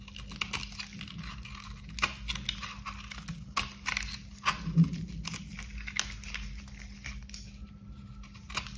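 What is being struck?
Bar of soap.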